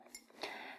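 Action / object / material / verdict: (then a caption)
tap / hand-blown glass drinking glass / glass / none. A hand-blown glass water glass with a shifting purple-to-blue color is tapped gently twice. Each tap gives a soft, bright clink, and the second rings on briefly with a clear tone before fading.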